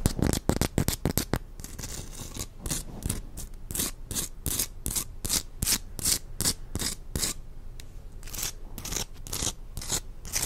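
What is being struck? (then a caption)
Rose quartz chunk. Long acrylic nails scratch and tap a palm-sized chunk of solid pink rose quartz. The result is a rapid, irregular run of dry, bright scratching strokes mixed with short clicks. Each sound stops almost instantly with no ring.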